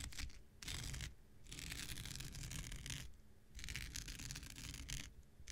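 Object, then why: Synthetic non-woven scouring pad. An X-Acto knife blade scratches and drags across the fibers of a thin, hand-sized blue non-woven synthetic scouring pad held in the hand. Long bursts of bright, hissing scratch noise alternate with shorter, duller pauses, over a steady low rumble.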